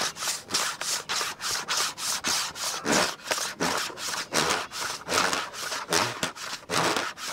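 Fingertips rub and scratch the textured underside of a black plastic computer keyboard's hollow case, then tap the keys. About 19 short, bright, scratchy bursts repeat in a loose rhythm with little low end.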